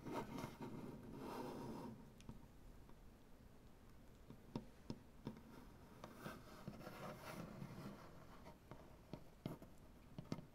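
Dark painted nails scratch along the wood grain of a large, solid wooden butcher-block tabletop, making soft, low rasping strokes. These are broken up by about eleven short, sharp taps on the wood. The sound stays quiet and dry, with the clicks dying away almost instantly.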